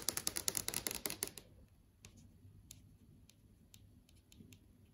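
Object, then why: Plastic and glass TV screen panel. Long yellow acrylic nails tap quickly across a large TV screen (plastic/glass panel) that is showing a video list. A rapid run of sharp, bright clicking taps fills the first second and a half, then thins to a few faint, scattered ticks over a low, quiet background.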